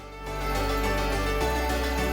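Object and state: Nothing is struck.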